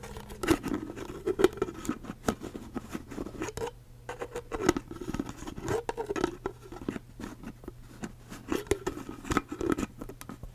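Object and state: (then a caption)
Empty plastic cup, hollow. A hollow, empty clear ridged plastic cup with a curly straw, held sideways, has its blue plastic lid and body tapped and scratched with long acrylic nails. Quick, dry tapping and scratching recur throughout, with a low-mid hollow tone under a steady low hum, easing briefly near the four-second mark.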